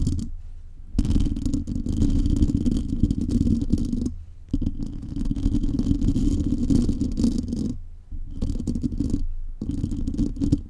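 Long painted nails of both hands scratch across a metal mesh microphone grille under a foam cover, producing a dense, muffled scraping rumble heavy in low tones. The scratching runs in continuous bursts, broken by brief pauses around 1, 4 and 8 seconds.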